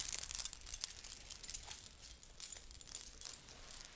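A blue belly dance hip scarf with small metal coins and beads is draped and shaken by hand close to the microphone. The coins give off a soft, bright, continuous jingle of tiny overlapping clinks that swell and fade in quick bursts, with almost no low end.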